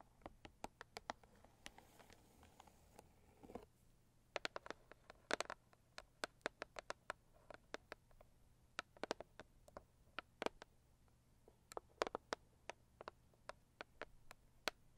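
Long purple acrylic nails tap and scratch the lid of a medium-size, hollow, pink floral Saviland rigid cardboard gift box. Dozens of sharp, bright, quick-decaying clicks land in an irregular rhythm, with a soft, hissy scratching stretch early on, all at a quiet level.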